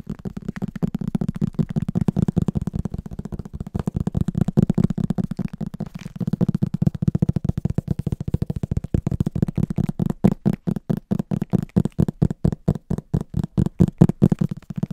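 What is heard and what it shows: Fingertips rapidly tap and scratch the back cover of a solid, medium green cloth or paper hardcover book held upright. The dense run of short, dull, low-pitched thumps has no ring. The tapping turns sparser and more distinctly separated toward the end.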